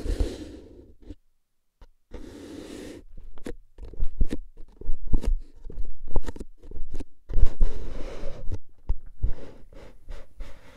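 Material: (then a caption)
Cardboard. A hollow, paper-wrapped cardboard tube canister with a metal rim and plastic lid is held in front of the body and tapped on its side and top with the fingertips. The result is a run of quick, dull, hollow taps that stop almost at once, with a deep low thump under them, mixed with soft rustling bursts between the taps and a brief near-silent pause near the start.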